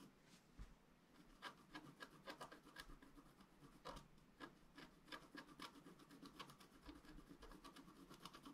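A pointed wooden stylus scratches the coating of a thin, black, wax-coated scratch-art paper sheet lying flat and solid on a table. A quiet, steady run of short, dry rasping strokes follows, each a bright, crackly scrape that stops almost at once.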